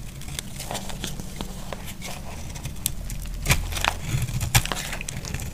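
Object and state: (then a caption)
Dry bar soap being carved. A solid, dry white bar of soap is held in the hand and carved at the edges with a utility knife, giving a series of irregular, dry crackling scrapes and crisp cuts. The cuts are short and bright, with a few louder ones near the end, over a steady low hum.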